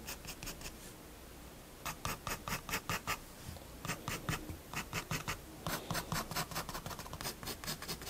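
A fineliner pen scratches quick hatching strokes across a page of a spiral paper sketchbook. The short, bright scratching strokes come in rapid, uneven bursts with brief pauses between groups, over a low, steady background hum.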